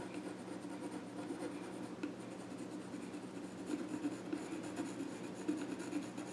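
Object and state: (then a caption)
Pencil scratching on a wooden stool top. A pencil tip scratches drawing strokes across the flat top of a small, reddish-brown wooden child's stool with visible grain. The result is a steady, soft, dry scratching with a midrange grain and a faint bright rasp, swelling slightly with a few firmer strokes near the end.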